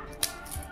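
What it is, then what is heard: Crisp dried sago-potato chakli. A dried red chili sago potato chakli is snapped apart by hand, giving one sharp, bright crack followed by a faint crumbly rustle. The chakli is well crisp and breaks with a clean snap.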